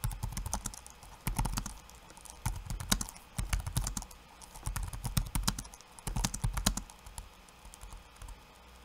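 One hand's fingertips type on a backlit laptop keyboard with plastic keycaps. Quick bursts of short, clicky key taps, each with a soft low thump and a bright click, are separated by brief pauses.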